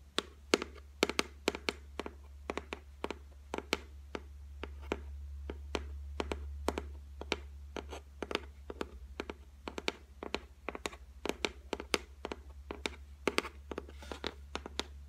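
Long white nails tap steadily on a flat, solid white laminated shelf top, producing dozens of sharp, dry clicks with a bright edge that die away almost instantly. A steady low hum runs underneath throughout.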